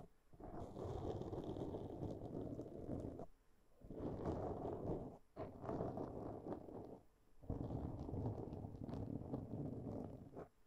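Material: Foam.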